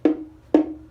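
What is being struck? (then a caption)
Wooden baritone ukulele back. A finished wooden baritone ukulele back and body assembly, made of black cherry, beech or white ash, is tapped twice as a sound test. Each tap gives a short, hollow wooden knock with a tone centered near 310 Hz that fades within a fraction of a second.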